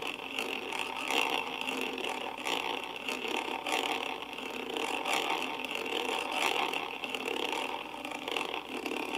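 A wooden-handled brush rubs the top of the hollow metal mesh grille on a karaoke microphone. It makes a continuous, dense scratching and rasping with no low end, centered on a bright band around 2.7 kHz. The level stays steady, with small swells as the bristles sweep back and forth.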